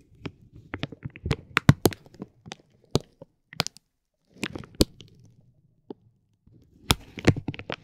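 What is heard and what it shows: A metal ball-tipped stick presses and rubs a clear soft vinyl plastic bag wrapped around a roll of glitter tape, working the film inside the roll's hollow center. Irregular bursts of soft crinkling carry sharp, bright crackles and snaps over a low rustling body. Brief quiet gaps fall between the clusters.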